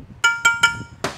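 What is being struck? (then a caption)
Transmission drum shell, sheet metal. Four taps on the non-magnetic metal shell around a drum from a Ford 4R70W transmission during teardown. The first three ring with a clear metallic tone near 1.4 kHz, and the last is a duller, broader knock. The shell is normal: it is non-magnetic so the speed sensor can read the drum through it.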